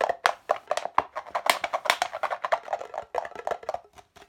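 An empty, hollow red plastic party cup, held upright and then upside down, is tapped quickly on its sides with fingertips and nails. The result is a fast, uneven run of sharp, dry, hollow clicks, each with a mid-pitched knock around 700 Hz, a bright edge, no low end and almost no ring.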